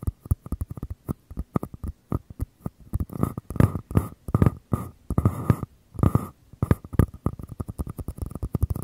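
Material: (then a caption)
Paper. Fingers tap and scratch the walls of small, empty white mini paper cups, one held in each hand with the open end toward the mic. Quick, dry, hollow taps with a low thump come in rapid runs. In the middle they give way to longer scratchy rubbing bursts before the tapping picks back up.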